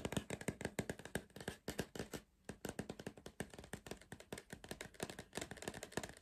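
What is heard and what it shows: Fingertips tap rapidly on the side wall of a tall, hollow green cardboard Pringles tube held upright. About forty short, dry, hollow taps follow one another with a brief pause near the middle. Each tap has a soft, low body and dies away almost instantly.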